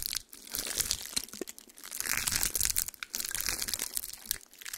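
A single small, dry pine cone with woody scales is gripped in one hand while fingertips and nails squeeze and scratch the scales, with the other hand lying flat on a towel. Dense, bright crunching and crackling snaps come in quick, sharp bursts with almost no ring or low end.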